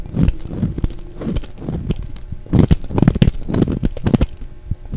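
A solid orange and brown striped translucent bar of soap, held in the hand, is shaved with a utility knife blade. Dull, crackly scraping comes in dense bursts, mostly low and soft with no bright edge, and the shaving grows louder and busier toward the middle of the clip.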